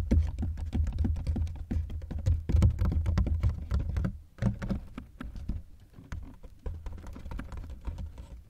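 Fingertips and nails tap rapidly and irregularly on the outer shell of a dark grey ribbed hard-shell plastic carry-on suitcase, near its combination lock and expansion zipper, with the mic placed inside the hollow case. Each tap lands as a deep, boomy thud with a quick clicky edge that dies away almost at once. The tapping runs dense and loud at first, pauses briefly around the four-second mark, then continues more softly.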